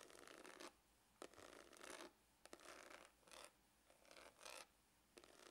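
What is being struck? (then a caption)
Faux leather hard glasses case. Fingernails scratch the textured top of a dark, hollow faux-leather hard glasses case. Bursts of dry, bright rasping scratches alternate with quiet pauses, with a few short sharp taps at the start of some strokes.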